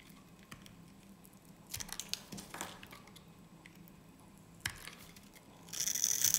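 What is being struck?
Soap bar.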